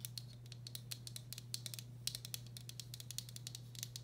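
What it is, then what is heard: Empty ceramic bowl. Long black acrylic nails tap and scratch the outer wall of a medium, hollow, empty turquoise speckled glazed ceramic bowl. The result is a quick, uneven series of light, bright clicks with a short high ring, over soft scratching and a steady low hum.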